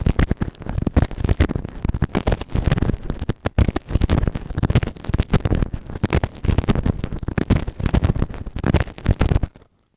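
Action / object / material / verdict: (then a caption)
scrape / silicone ear model with plastic spatula / silicone / none. A white plastic spatula scratches and rubs inside the ear canal of a soft, solid grey silicone ear microphone. Dense, muffled, bass-heavy scraping and thumping comes in rapid bursts, with brief pauses, for nearly ten seconds before stopping abruptly.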